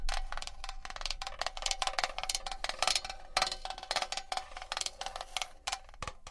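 A metal box is tapped and scratched with long nails for ASMR, giving a quick run of light, bright clicks and taps that stop almost at once. A steady ringing tone sits in the low mids under the strikes, with faint scraping between them.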